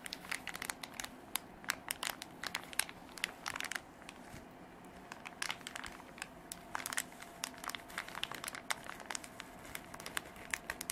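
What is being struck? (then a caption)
Canvas fabric pencil case. Long black artificial nails scratch and rub a soft, hollow beige canvas zip pencil case, producing a steady stream of dry, crinkly scratches and small crackling ticks. The sound is bright and close, with quick, sharp bursts over a quiet fabric rustle.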